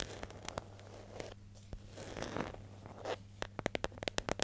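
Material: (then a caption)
Plastic. A medium yellow plastic hair gel jar with a screw lid and printed label, hollow and held in hand, is tapped and scratched on its lid and sides with long nails. Soft scratching and rubbing fill the first three seconds, then a quick run of sharp, bright taps with almost no ring closes the clip over a faint low hum.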